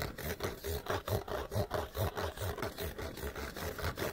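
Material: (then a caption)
Cardboard. Fingernails scratch fast and hard across the outside of an empty, hollow cardboard light bulb box, a small open-ended box with a corrugated-looking interior. The strokes come in a quick, fairly steady rhythm of rough, dry scraping with a hollow, boomy low body. Each stroke dies away almost at once.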